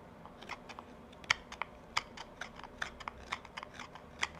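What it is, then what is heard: Wooden pipe bowl being carved. A carving knife shaves small chips from the outside of a hand-held, hollow wooden tobacco pipe bowl. About fifteen short, dry scraping cuts of the blade on wood are heard, each a crisp, bright snick that stops almost instantly, with quiet pauses between them.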